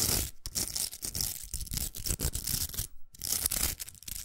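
Long nails scratch and tap a large, hollow pink plastic velcro hair roller, including its rim. The result is a dense, bright, crackly rasp broken by sharp, quick taps. A short near-silent gap comes around three seconds in.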